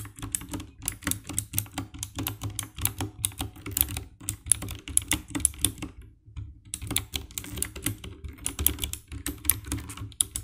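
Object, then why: Plastic mechanical keyboard. Fingertips type steadily on the keycaps of a compact 60% black plastic mechanical keyboard with RGB backlight, producing a rapid stream of sharp, bright clicks over a low, thocky thud. The typing pauses briefly just past the midpoint, then resumes at the same quick pace until the end.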